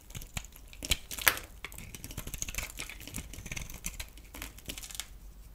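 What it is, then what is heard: Bar soap shaved with a blade. A solid oval green bar of soap held in the palm is shaved and scraped with a metal utility knife blade, curls falling off. Quiet, dense crackly scraping and crisp shaving strokes with bright hiss, plus a couple of sharper clicks near the start.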